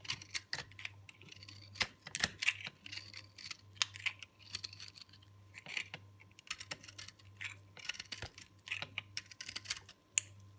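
A hand-held, solid, hard, dry green-purple recycled soap ball has its flat cut face scraped with a metal box-cutter blade. It makes a rapid, uneven run of crisp, bright scratching and crunching strokes, with a few sharper snaps along the way. A faint steady low hum runs underneath.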